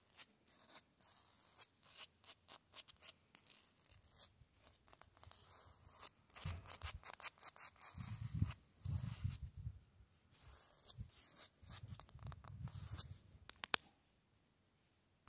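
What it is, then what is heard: Concrete block wall. An open hand and fingertips rub and scratch the rough surface of a grey concrete cinder block wall with a vertical mortar joint. Quick, dry bursts of gritty, hissing scrapes come and go at a low level, with heavier, lower-pitched rubbing swelling in the second half before it stops near the end.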